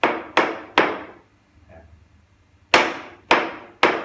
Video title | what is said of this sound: Ep35วิธีตรวจพื้นกระเบื้อง ว่าปูดีไม่ดี ง่ายๆโดยใช้ไม้เคาะดู | ปูนกาวไม่ทั่วทั้งแผ่นนะครับเสียง ก็จะดังปุ๊ๆๆแบบนี้